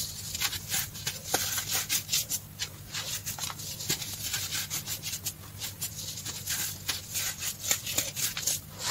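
Fingers grab, squeeze and rub a loose pile of green-dyed baking soda powder on a dark tray, crumbling small clumps. The result is a steady run of bright, crisp, high-pitched crunches and soft rustling scrapes with almost no low end.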